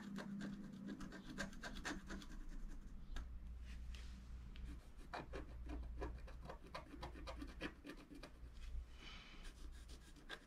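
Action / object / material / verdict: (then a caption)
scrape / coated scratch art paper with a wooden stylus / coated paper / none. A wooden stylus scratches thin lines into the black coating of a flat scratch art paper sheet. The result is a quiet, steady run of short, dry scratching strokes with faint bright edges over a low, steady hum.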